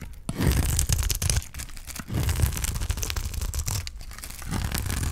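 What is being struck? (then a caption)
Bar of soap shaved with a blade. A utility knife blade repeatedly scrapes and shaves strips off the surface of a solid bar of dry green soap held in the hand. Rough, crackling scraping strokes come in uneven bursts with brief pauses, their texture dense and low-heavy with some bright grit on top.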